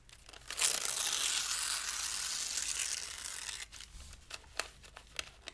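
A thin pale-green paper sheet is held flat with one hand and torn by the fingers of the other. A long, bright, hissy rip runs for about three seconds, then gives way to quieter crinkles and a few sharp ticks as the tear finishes.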